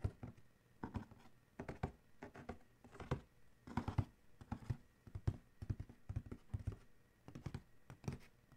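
Fingertips on one hand tap fast on the lid of a large, hollow black Adidas cardboard shoe box, and fingernails scratch across it. Bursts of quick, dull, low hollow thumps come in clusters with very short decay, mixed with faint scratching in the quiet gaps between.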